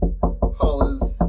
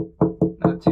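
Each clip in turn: First: solid, well-bonded fiberglass deck. Second: delaminated fiberglass deck.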